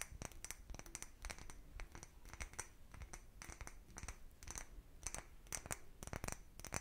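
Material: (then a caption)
Glass. A small, empty, clear cut-glass bottle with a patterned surface, hollow inside, is tapped and scratched with the fingernails of both hands. The result is a quiet, rapid run of short, bright clicks with a brief high glassy ring, mixed with soft scratching between the taps.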